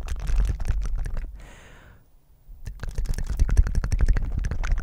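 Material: Silicone.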